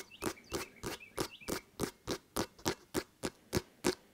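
Fingertips of one hand tap and patter on the pebbled surface of a full-size, inflated, hollow rubber basketball held in the other hand. Thirteen short, dry taps come in a steady, fairly quick rhythm, each with a hollow, muted thump around 360 Hz and a bright click on top that dies away almost at once.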